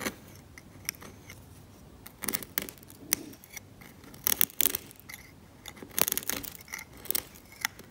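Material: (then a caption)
Varnish. A steel scalpel blade scrapes the varnish layer off a cracked, varnished oil painting on canvas. Short, bright, dry scratching strokes come in irregular bursts, some grouped into quick clusters, separated by near-silent pauses with almost no low end.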